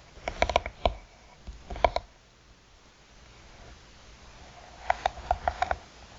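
Long nails tap the top and side edges of a closed, hollow, black croc-textured hard eyeglass case with a faux-leather cover. Quick bursts of dry, hollow clicks with a mid-pitched knock around 690 Hz come early in the clip and again near the end, each tap dying away almost instantly, with quiet pauses in between.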